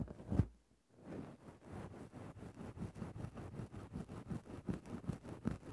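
A thin bamboo ear-pick stick scratches a grey synthetic-fur microphone windscreen. A louder rustling scrape comes first, followed by a brief silence. Then a steady series of soft, muffled, rhythmic scratching strokes follows, heavy in the low end with no bright content.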